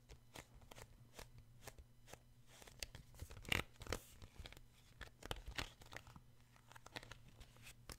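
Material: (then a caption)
Card. Fingertips and short nails tap and scratch the glossy card cover of a paperback children's book held in one hand. The result is a quiet series of sharp, dry, bright clicks and crinkly scrapes over a faint, steady low hum. The taps come at an uneven pace, with a few louder strikes near the middle.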